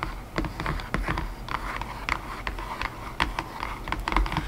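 Long nails tap rapidly and irregularly on the inner floor of an open, empty white cardboard box tray, giving light, hollow, papery clicks with a dull low thud beneath. Each tap dies away almost at once.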